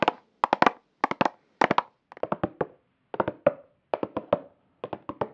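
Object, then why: Small plastic makeup compact. A small, flat, square black plastic makeup compact with a patterned lid and a hollow case is held in the hand near the mic and tapped with long acrylic nails. About 23 quick, dry, hollow clicks come in short bursts of three to five, separated by brief silences. Each tap is a sharp midrange tick that dies away almost at once.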